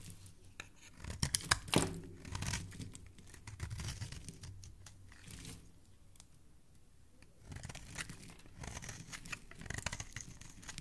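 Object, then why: Bar of soap shaved with a metal blade. A metal blade scrapes shavings off the surface of a solid blue oval bar of soap held in a hand with painted nails. Bursts of dry, crunchy scraping and tearing-like crinkles come in quick, uneven strokes with a bright crackle over a soft low rumble, easing into a quieter stretch midway before the scraping picks up again.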